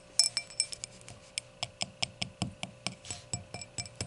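Long nails tap the edge and face of the round, solid glass foot of an empty hurricane glass lying on its side. Seventeen quick, bright glassy clinks ring high and die away almost at once, in an uneven rhythm.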